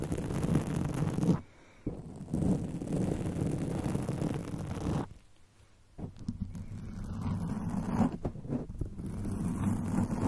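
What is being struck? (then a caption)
Foam microphone windscreen scratched with fingernails. Long acrylic nails of both hands scratch the soft, porous black foam windscreen on a microphone with a rhinestone-studded body. The result is a dense, bass-heavy rustling and scraping that comes in bursts. There are brief quiet pauses near 1.5 and 5.5 seconds.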